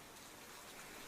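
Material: Nothing is struck.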